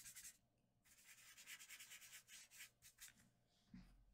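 A small round brush with a wooden handle rubs and blends graphite below the eyes on a large flat sheet of white drawing paper. Quiet, bright, airy swishes come in a run of repeated back-and-forth strokes, with a short pause early on. The strokes fade near the end into a soft low bump.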